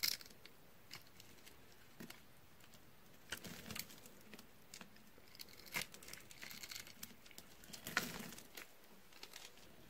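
A teal, solid dry bar soap held in the hand and scored into a grid has its cubes crushed off by fingers while a utility knife blade scrapes and cuts the bar. Quiet, dry, bright crunches and crumbly crackles come in scattered bursts over a soft scraping hiss, with a few louder snaps standing out.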